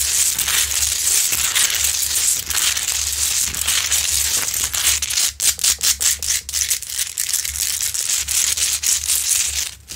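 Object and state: Rock-salt lamp being scratched.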